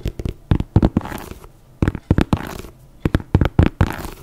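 Long nails tap and scratch the upper of an empty white leather running sneaker with an air sole, held in one hand. Clusters of short, dull, low-heavy taps alternate with softer stretches of brushy scratching, and the taps die away almost instantly.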